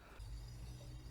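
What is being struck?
Nothing is struck.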